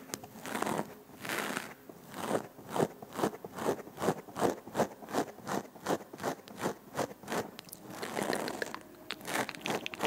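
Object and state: Foam microphone windscreen, scratched.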